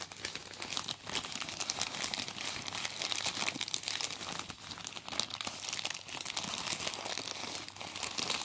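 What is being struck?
Thin plastic bin bag.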